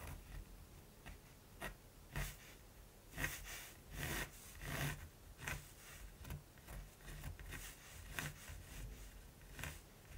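A hand draws raven outlines with a black mechanical pencil on a large, flat, gesso-primed linen canvas lying on a table. The graphite tip makes light, dry scratching strokes across the textured surface. These come as quiet, irregular bursts of broadband rasp with brighter highs over a faint low rumble.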